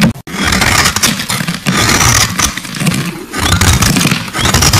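A solid purple bar of soap with a rose relief, held in the hand, is shaved with a metal utility blade. The result is continuous, dense scraping and crackling with a gritty low rumble and bright, hissy texture. The sound runs almost without a break after a brief dip near the start.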